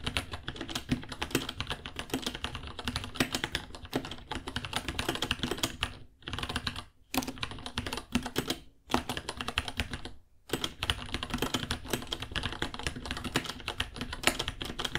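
Fingertips type steadily on a white 66-key mechanical keyboard with Gateron Brown switches, plastic keycaps and a hollow case about 30 cm long, which sells for about $60. Rapid, bright plastic clacks run in dense bursts, with brief pauses around 6, 7, 9 and 10 seconds.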